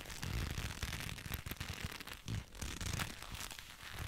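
Black leather gloves, worn on both hands and held close to the microphone, rub and squeeze against each other, with a leather jacket close by that may add to the sound. The result is a steady, dense run of soft crackly creaks and scrapes with a bright hiss on top and low, muffled thumps underneath, swelling and easing as the fingers work.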